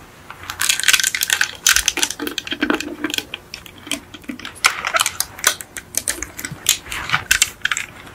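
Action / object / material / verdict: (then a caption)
tap / small die-cast metal toy car / painted metal / none. Long acrylic nails tap rapidly on the roof and hood of a small yellow die-cast Beetle model car, a hollow painted metal body resting on a fluffy mat. The taps are bright, sharp clicks with a light metallic tone around 1.5 kHz that dies away almost at once, with a few softer, duller knocks mixed in. They come in quick, uneven bursts throughout.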